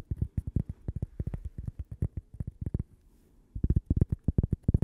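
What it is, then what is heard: Cork coaster. A thin, flat, toast-shaped cork coaster with a logo is held in the hand and tapped and scratched with long painted fingernails. About 29 quick, dull, low taps come in rapid bursts with very little ring, pausing briefly for a soft scratchy stretch before louder tapping resumes.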